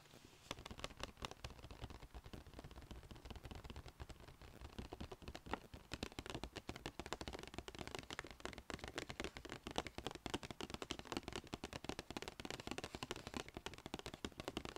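Long red nails tap quickly and continuously on the sides of a small striped Sephora paper bag held on a lap, using both hands. The result is a dense stream of short, dry, papery clicks that start soft and grow louder after the first few seconds, over a faint, steady low rumble.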